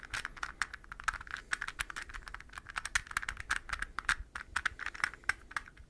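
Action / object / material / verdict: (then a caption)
tap / hollow plastic puzzle ball / plastic / none. Fingernails tap and scratch a palm-sized, hollow, translucent green plastic puzzle ball held up close. The result is a rapid, uneven run of short, dry plastic clicks and ticks centered around 1.4 kHz with bright edges. Each click dies away almost instantly, with light scratching between them.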